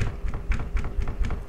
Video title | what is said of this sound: DASAR SENI MUSIK - PODCAST GURU SENI - UNSUR MUSIK #VISUALAUDIO #PAKRAMA | kemudian bunyi meja yang saya pukul menggunakan tangan